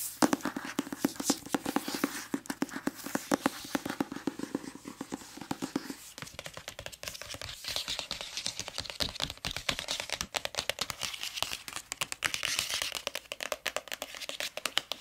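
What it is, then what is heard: Hardcover book with glossy dust jacket. Long nails tap rapidly on the cover and page edges of a medium-sized hardcover book, "The Sacred Lies of Minnow Bly," with a glossy dark paper dust jacket and a red spine edge, held in the hands. The result is a dense stream of quick, crisp, bright clicks with almost no ring, and a faint crinkle of the glossy paper. After about six seconds the taps turn sharper and more spread out.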